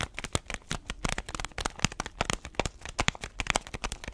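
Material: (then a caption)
Paper foil. A paper-foil bag filled with coffee beans, held horizontally, is tapped and pressed by fingers and nails. This produces a rapid series of short, dry crinkles and clicks as the beans shift inside. Each sound spans low thuds to bright rustle and stops almost instantly.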